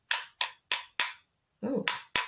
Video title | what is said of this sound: MAISA 1st Grade Writing Unit 7 Lesson 2 1 | this sounds like a tap tap but it's not like tink tink it's like tap tap and it's kind of a medium sound